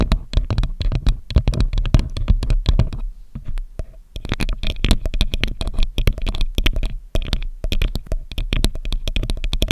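Long acrylic nails tap and scratch directly on the hollow metal mesh grille of a silver Samson USB microphone. The result is a dense run of quick, dry taps with deep, boomy low thuds and faint bright clicks on top, easing off briefly around three to four seconds before the tapping picks up again.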